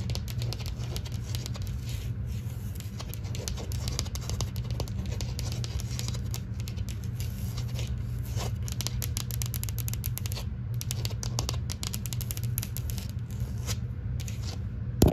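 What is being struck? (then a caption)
Painted drywall wall. Long green almond-shaped acrylic nails and fingertips quickly tap and scratch a flat interior painted drywall wall with an orange-peel textured beige finish and a solid surface. The result is a dense, continuous patter of short, dry clicks and scratchy rasps over a steady low hum, with a sharper, louder tap at the very end.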